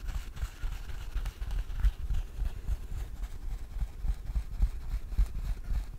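Fingertips tap and knock on the lid and sides of a small, closed, hollow rectangular jewelry box with a dark blue covering, probably cardboard, held in both hands. The result is a quick, uneven patter of soft, dull, low thumps that die away almost instantly, with almost no bright content.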